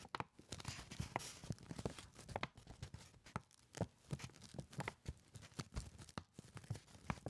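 A crumpled brown kraft paper lunch bag, hollow and folded over at the top, is held up in front of the face with both hands while fingertips tap and rub its surface. Quick, dry crinkling taps and rustling scrapes follow one another closely, with a soft low thump under each tap and papery brightness on top.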